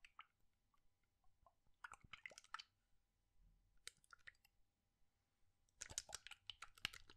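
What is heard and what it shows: A clear plastic bottle with a white cap, partly filled with orange liquid, is held upright in one hand with fingertips on its body and shaken and tilted. Quiet, bright clicks and squishy, wet sloshing come in short bursts around two, four and six to seven seconds, with near silence between them.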